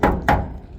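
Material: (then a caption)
Steel. The steel body panel of a 1999 Chevy 1500 truck is banged twice with a hand, giving two dull, low metallic thumps that ring briefly. It sounds like solid real metal, unlike newer cars with fiberglass and plastic mixed in, and a dent in it can be hammered back out.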